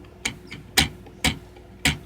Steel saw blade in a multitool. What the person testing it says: it's actually pretty secure in there